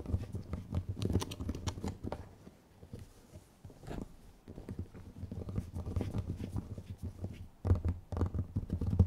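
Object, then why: Small round clear plastic jar. Long nails scratch and tap on two identical small round clear plastic dome jars with strawberry labels and red contents, held one in each hand. A dense patter of soft, dull, low taps and scratches rises and falls, easing off briefly in the middle before picking up again toward the end.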